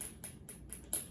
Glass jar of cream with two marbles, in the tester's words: it's thick because you can't hardly hear the marbles. You can't hear the marbles. So it's already separated.